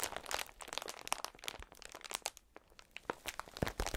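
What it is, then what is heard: Plastic air-cushion packaging sheet. A clear plastic air-cushion packaging sheet is held against the chest and pressed and rubbed with the fingertips of gloved hands. It makes a quiet, continuous bright crinkling, dotted with sharp little crackles and snaps that die away instantly, with a brief lull near the middle.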